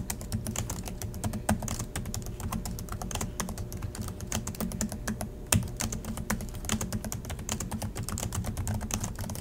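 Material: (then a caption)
Plastic. Both hands type steadily with their fingertips on the black plastic chiclet keys of a silver Acer laptop resting on a desk. The result is a continuous stream of short, sharp key clicks over a low hum, with two louder clacks standing out near 1.5 and 5.5 seconds.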